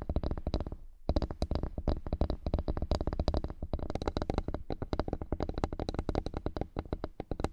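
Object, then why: Flat bamboo board. Fingertips and nails tap and scratch across the grain of a flat bamboo wooden board. Dense, rapid dry taps with a low, thumpy body die away almost instantly. The taps pause briefly near the one-second mark and then continue steadily to the end.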